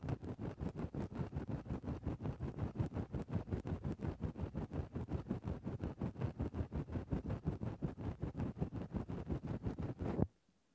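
A thin wooden stick held in the fingertips pokes and scratches into a large grey fluffy faux-fur windscreen covering a microphone, ear-cleaning style. It makes a steady run of muffled, low, rustling scrapes at nearly three strokes per second. The scratching stops abruptly just after ten seconds and is followed by near silence.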